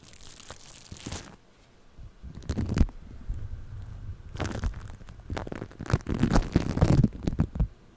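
Purple floam foam-bead clay resting on a microphone is scratched with a thin pick or brush tool and touched with fingertips. Irregular bursts of close, crunchy crinkling and squishing rise from quiet pauses, with a heavy low rumble under them. The clusters grow denser and louder toward the end.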